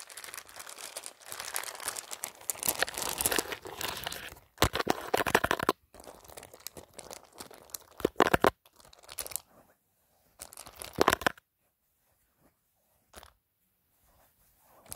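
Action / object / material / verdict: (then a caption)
scrape / handbag with plastic pearl beads and metal studs / plastic, metal / none. Fingertips and short nails rub and scratch over the plastic faux pearl beads and gold metal studs of a beige handbag, making a dense, crinkly clicking rattle. The first few seconds are steady scratching, followed by louder separate bursts of rattling. The sound thins out toward the end, leaving near-silent gaps broken by brief faint clicks.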